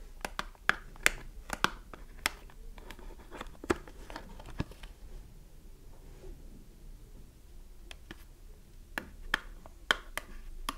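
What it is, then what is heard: Cardboard soap box. Long nails tap quickly on the side panel and flap of a small cardboard soap box with a bar of soap inside. The taps are short, dry, bright clicks that die away instantly, coming in a fast cluster, then a quieter stretch of faint scratching and rustling, then a few more taps at the end.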